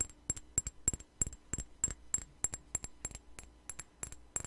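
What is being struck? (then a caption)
Small glass perfume bottle. A small clear glass perfume bottle with a white flower cap is held in the hand and tapped with long nails close to the microphone. About 21 quick, bright clicking taps, some in pairs, come at an uneven rhythm with a sharp high glassy tick. Each dies away almost instantly.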